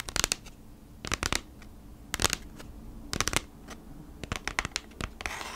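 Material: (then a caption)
Cardboard. Long nails scratch and rub along the printed surface of a kraft cardboard packaging sleeve held horizontally. The result is clusters of short, dry, bright scraping bursts, separated by quiet hiss, with a soft rough rasp at the end.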